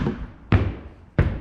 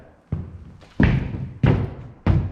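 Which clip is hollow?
The second.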